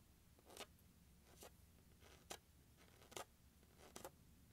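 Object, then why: Hard plastic carrying case lid. Fingertips tap and scratch along the top edge of the lid of a closed, large, hollow turquoise hard plastic glockenspiel carrying case resting on carpet. Five short, bright, scratchy swipes come at a loose, uneven pace, each dying away almost instantly over a faint low background hum.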